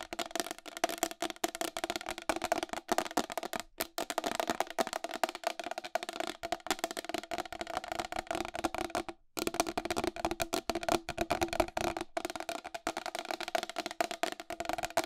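Long glittery acrylic nails tap fast and scratch across the face of a round white plastic wall clock with a hollow case and raised numerals. The result is a dense, continuous stream of sharp clicks and scrapes over a steady hollow ring around 640 Hz, with very little low end. There is a brief silent break just after the nine-second mark.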